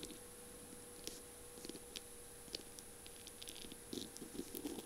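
Long glittery purple nails tap and scratch along a slim feather pen whose barrel is covered in tiny beads and small square mirror tiles, with a pink feather plume, as it lies on a flowery surface. A series of quiet, short, bright clicks and light scratchy rustles sounds over a faint steady hum, with the taps growing busier toward the end.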